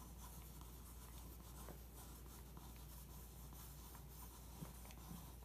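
A pencil tip rubs and traces over a printed photo on the thin glossy page of an open magazine lying on carpet. A quiet, steady soft scratching and rubbing runs throughout over a low background hum, with two slightly louder strokes near the end.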